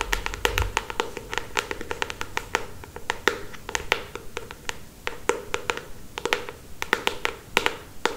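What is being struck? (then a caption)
Paperback book with glossy paper cover. Long acrylic stiletto nails tap and scratch the glossy paper front cover of a solid paperback novel held upright. Dozens of quick, dry clicks come in an uneven rhythm, each with a bright, crisp edge and a hollow midrange knock, and almost no ring. Soft scratchy rustling fills the gaps between taps.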